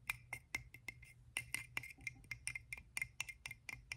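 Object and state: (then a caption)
Coconut shell half. An empty, hollow, hand-sized half of a coconut shell with a hairy, fibrous outside is held in one hand and scratched and tapped with the fingertips and nails of the other. About twenty quick, dry, bright clicks ring out, each dying almost instantly, centered near 2.4 kHz. A faint, steady low hum sits underneath.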